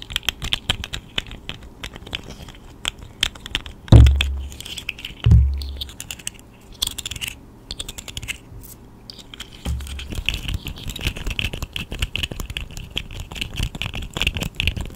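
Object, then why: Segmented plastic slug toy. A small, hollow, segmented plastic fidget slug in pink, purple, orange and yellow is held in both hands in front of a microphone, its segments flexed and clicked with long nails and fingertips while a fingertip taps its body. Dense, irregular plastic clicks and rattles of the segments knocking together fill the clip with a bright edge, broken by two louder, deeper thumps early on.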